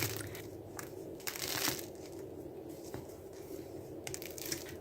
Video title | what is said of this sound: Kauf kein 🍞 Brot! Dinkel-Misch-Brot mit Übernachtgare Anfänger geeignet! 😋 #206 | чуйте колко невероятно хрупкав се оказа отново